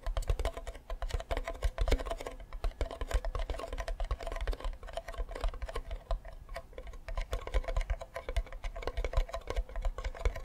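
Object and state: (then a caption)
Wooden ukulele back. Fingertips and nails tap rapidly on the back of a hollow wooden ukulele with a yellow flower sticker. The result is a fast, continuous patter of short, dry clicks, each with a deep, hollow thump underneath and a brief woody resonance that dies out almost immediately.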